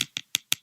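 A hard maple 5B wooden drumstick taps four times on a computer. Each tap is a short, bright, high-pitched click with almost no ring or low end.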